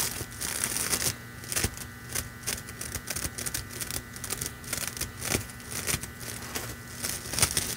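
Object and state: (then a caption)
Plastic deco mesh ribbon being crinkled. A red metallic plastic deco mesh ribbon, held in both hands, is crinkled and crushed with fingers and nails. It makes dense, bright crackling and rustling with sharper crunchy bursts throughout, over a quieter steady crinkle.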